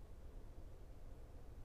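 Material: Nothing is struck.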